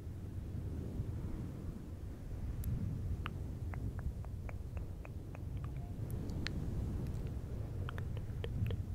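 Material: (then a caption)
Synthetic fur. Fingertips of both hands rub and scratch a fluffy synthetic fur windscreen on a silver microphone. The result is a steady, muffled low rumble, dense and boomy, with scattered sharp, bright scratchy ticks and crackles over it.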